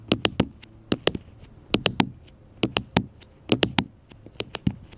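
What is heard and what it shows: Fingertips and nails tap a black smartphone with a glass screen held on a table, giving eighteen short, dry clicks in quick clusters of about three. Each tap is sharp and bright with a light low knock underneath and almost no ring.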